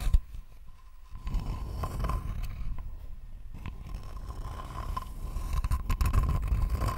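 A thin, flat, rectangular wooden board held close to the mic is scratched with long nails. The result is dry, uneven scraping and scratching strokes over a low rumbling bed, with a faint steady tone near 1 kHz running throughout.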